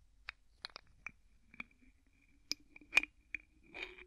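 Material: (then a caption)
Plastic. Fingertips twist the white plastic screw cap of an empty clear plastic bottle back and forth. Eight short, bright clicks are heard, with a faint high ring between them and almost no low end. A longer, rougher rasp of the cap turning comes at the end.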